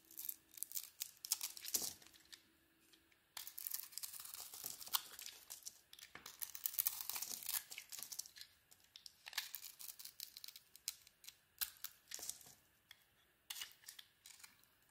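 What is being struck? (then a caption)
Bar of soap shaved with a metal blade. A metal blade, held in a bandaged hand, shaves a hand-sized solid soap bar with a pink-glitter zebra-striped outer layer over a white core. Bright, crisp scraping and crackling strokes come in bursts, separated by brief quiet pauses. A faint steady tone sits underneath during the first few seconds.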